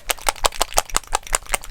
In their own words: the dropper bottles have ball bearings in so when i shake them you can hear the ball bearings rattling about inside